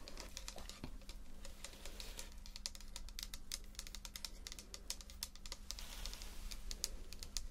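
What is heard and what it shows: Long nails tap rapidly on the body and white pump cap of a tall red plastic foaming cleanser pump bottle, about 150 ml, hollow and likely partly full. The result is a quick, steady stream of crisp, bright clicks with almost no ring. A faint low hum runs underneath throughout.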